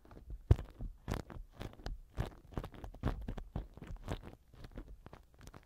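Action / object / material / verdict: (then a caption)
scrape / silicone ear pick rubbing inside a silicone microphone ear cover / silicone / none. A black silicone ear pick rubs and scratches inside the left silicone ear cover of a TASCAM microphone. The result is a quiet run of short, crunchy scraping bursts, mostly low and muffled, with brief bright edges on the stronger strokes and no ringing.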